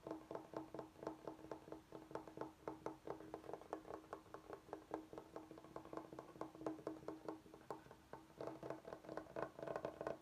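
Knuckles and fingertips knock and tap in quick, uneven runs on a large, flat, solid bamboo cutting board with edge strips, held upright. Each tap gives a short, dry, woody knock with a hollow tone around 316 Hz that dies away almost at once. The taps come steadily across the whole clip at a soft, even level.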